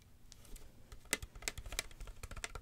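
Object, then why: Woven wicker basket. Long fingernails tap and scratch the woven interior and rim of an empty, hollow wicker basket turned open side up. The result is a quick, uneven run of sharp, dry, bright clicks over a soft rustling scratch, with each tap dying away almost instantly.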